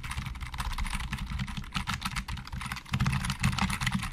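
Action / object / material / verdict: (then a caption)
tap / plastic computer keyboard / plastic / none. Fingertips of both hands type on a hollow, black plastic Logitech keyboard, producing a rapid, continuous stream of bright, clicky keystrokes with short rattling decays. A steady low rumble runs underneath the typing throughout.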